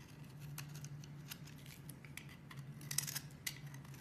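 A solid peach-colored bar of soap is held in the hand and shaved and scraped with a metal box-cutter blade, producing flakes. Quiet, crisp scraping and bright slicing strokes come in short bursts over a steady low hum, with a couple of sharper cuts near the end.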